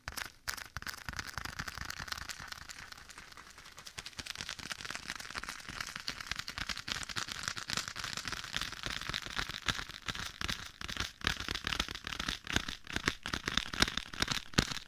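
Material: Leather.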